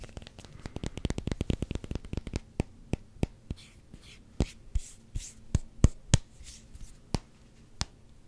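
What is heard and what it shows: A solid black vulcanized rubber hockey puck is held close to the mic and tapped and scratched with fingertips and short nails. A rapid run of dull, low, dry taps slows into sparser, louder knocks, mixed with brief bright scratching rasps.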